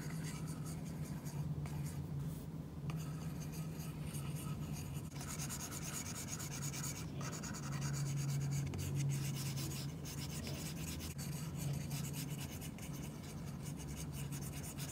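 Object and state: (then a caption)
Stylus on a matte plastic screen protector. A stylus tip rubs across a flat glass iPad screen fitted with a matte plastic screen protector in repeated scratchy strokes, like pencil on paper, while fingertips brush the surface. The soft, continuous rasping sits over a steady low hum and stays at an even, quiet level throughout.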